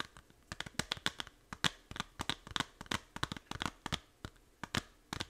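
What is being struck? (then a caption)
Small plastic game case. A small, hollow plastic Nintendo 3DS game case for Fantasy Life is held in both hands while long nails tap and scratch its back cover. Quick, sharp, bright clicks come in an uneven, rapid series, with faint scratchy crinkling between them. Each tap is dry and dies away almost at once.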